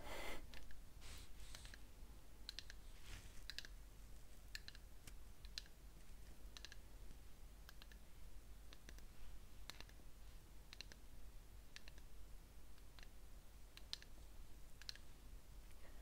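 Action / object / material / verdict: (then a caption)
tap / small ceramic cup filled with wax / ceramic / none. A small, light ceramic cup filled with wax, its candle lit, is held in both hands and tapped on its outer wall with fingernails. The taps come as quiet, short, bright clicks with almost no ring, scattered irregularly over a steady low hum.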